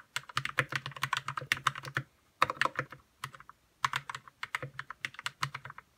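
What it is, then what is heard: Plastic mechanical keyboard. Fingertips type on a white RK61 60% mechanical keyboard with plastic keycaps, lubed red switches and a hollow plastic case. Quick runs of short, dry clacks have a midrange body and bright ticks over a faint low thump. The typing pauses briefly twice before continuing at a steady pace.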